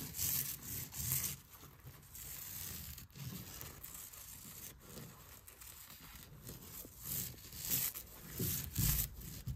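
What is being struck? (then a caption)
Quilted fabric wall hanging. Fingertips and nails scratch and rub across the stitched texture of a large cream quilted wall hanging, a soft flat fabric resting against a wall. Soft, dry scratching and brushing come in uneven bursts, with a bright airy hiss over a low rumble. The strokes are louder near the start and end and quieter in the middle.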